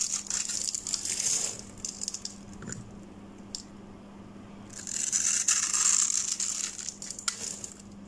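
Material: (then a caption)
Soap. A utility knife blade cuts a hand-sized, solid green Protex bar soap held in the palm into small cubes that crumble off. Bright, crisp scraping and crunching comes in dense bursts, loudest at the start and again around the fifth to seventh second, with a quieter stretch of softer scratches in between. A faint steady low hum sits underneath throughout.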